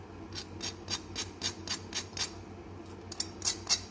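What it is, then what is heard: Crispy roast potatoes. Roast potatoes cooked in vegetable oil with butter, thyme and garlic are tapped or moved to show how crisp they are. A series of short, bright, crackly clicks rings out over a low steady hum, a run of evenly spaced ones followed by a pause and a few more. The sharp, dry crunch marks them as very crispy.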